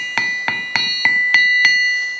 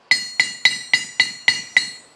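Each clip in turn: First: Six sharp hammer strikes on steel, each leaving a bright tone near 2 kHz that rings on without fading. Second: Seven bright metallic strikes near 2 kHz, each dying quickly instead of ringing on: a magnet-damped steel anvil.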